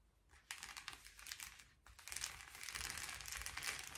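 A blue metallic foil bubble mailer is held and then laid flat on a table while fingertips scratch and tap its bubbled surface. The result is quiet, bright crinkling and scratchy rustling with soft irregular taps, mostly in the high range, growing a little denser and steadier toward the end.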